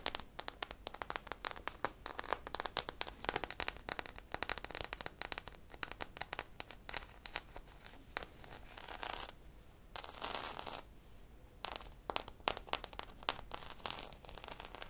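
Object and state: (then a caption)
Foam squishy toy scratched. A purple-drizzle foam squishy popsicle toy with a wooden-look stick, made of solid soft foam, is held in both hands and scratched with long nails. Quiet, dense, rapid crackling scratches and bright ticks run throughout, with a couple of brief softer rasping stretches midway before the scratching resumes.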